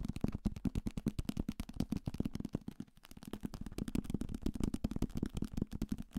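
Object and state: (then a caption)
Paperback book. A hand-held thick paperback copy of Salem's Lot, a solid paper block with a card cover, is tapped aggressively with fingertips and nails on its cover, spine and page edges. It gives a fast, steady stream of short, dull, low knocks with a papery click and no ring. The tapping eases briefly near the middle before picking back up.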